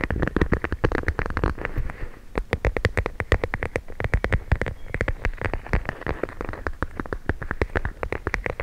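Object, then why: Plastic pouch of gel beads. A clear plastic pouch filled with teal gel beads is held up while long nails rapidly tap and scratch its plastic surface. It makes a dense, steady stream of short, dry clicks with a soft low thump under each tap and a faint scratchy hiss between them.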